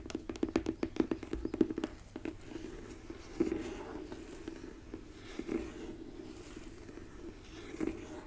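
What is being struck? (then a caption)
Printed cardboard gift box lid. Long nails tap and scratch the flat face of a white marble-print cardboard gift box lid with a gold logo, held upright in front of roses. A rapid run of dry, hollow taps with a low-mid tone fills the first two seconds, then gives way to a soft, continuous scratching broken by a few single taps.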